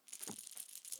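A plastic crankbait fishing lure, a fat-free guppy, is shaken so the rattles inside it can be heard, rattles meant to reach a fish's lateral line. Six quick, bright, clicking rattle bursts sound in about a second, mostly high-pitched with almost no low end.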